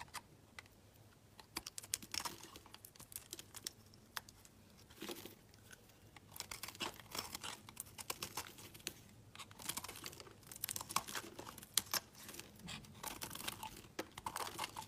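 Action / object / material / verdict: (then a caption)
scrape / bar of soap / soap / none. A solid, opaque peach soap bar held in the hand is scraped with a metal utility blade into shavings. The result is quiet, dense, crisp scraping and crackling, with many short bright ticks that come in uneven bursts and stop dead with no ring.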